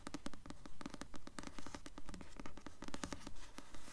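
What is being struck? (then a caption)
Hardcover book with glossy paper jacket. A blue Delirium hardcover book with a glossy dust jacket is held and tilted while long nails scratch and tap across its glossy jacket and spine. The result is a steady run of quick, dry taps and brushy scratches, coming in regular rhythmic swells with little ring after each stroke.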